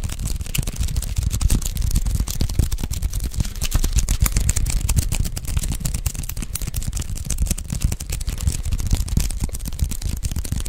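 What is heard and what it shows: Fingertips rapidly tap and lift off the sticky white adhesive paper roll of a handheld lint roller held close to the mic. Dense, quick taps, each a soft low thump with a faint crackly peel, run steadily through the whole clip at an even level.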